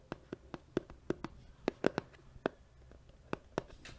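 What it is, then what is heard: Empty cardboard box. A medium, hollow, white cardboard box that appears empty is held next to the microphone and tapped with the fingertips and nails, giving about 15 short, dry, hollow taps with a mid-range body that stop almost instantly. A soft, brushy scratch of the nails on the cardboard is heard at the very end.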